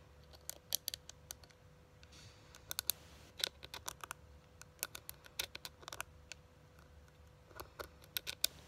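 Long glittery nails tap and scratch the lid of a small, flat, hollow pink printed metal tin eyeshadow palette (Too Faced peach) held up in the air. The result is a quiet, bright run of many sharp, dry clicks with very short ring, broken by soft scratching passages over a faint steady hum.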